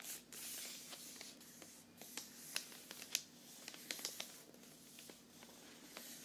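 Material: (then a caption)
Cardboard. A hollow, medium cardboard box covered in Christmas wrapping paper is held in the hand and tapped quickly with the nails. It gives quiet, irregular, typing-like clicks that are sharp and bright, with a soft papery hiss between them.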